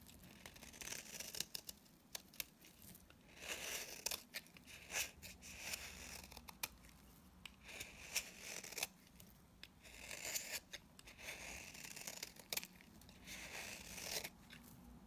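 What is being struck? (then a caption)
Bar of soap shaved with a blade. A utility knife blade shaves dry flakes off a solid mint-green bar of dry soap held in the hand. The clip is a series of crisp, bright scraping and crackling bursts, broken by sharp clicks and short quiet gaps.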